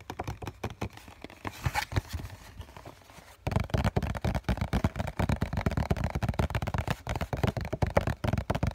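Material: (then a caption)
Cardboard. Fingertips and nails tap rapidly on the white printed face of a hollow cardboard COCON tissue box held in both hands. Quiet, light tapping for the first few seconds gives way to louder, denser drumming of short, dull, hollow thuds with a low, boxy body and almost no ring.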